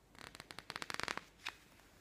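Fingertips rub the page of a thick glossy paper magazine lying open on a table, making a quick run of crisp, bright rustling ticks that grow denser and louder. A page is then lifted and turned with a short, airy paper swish before the sound fades to quiet.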